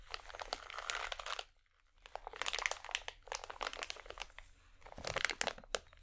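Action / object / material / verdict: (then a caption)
shake / plastic foil packet / plastic foil / none. A small holographic plastic or foil packet, held in both hands, is squeezed and crinkled by fingers with long nails. Dense, bright crackling and crunching comes in bursts, with a brief quiet pause near the start and another in the middle.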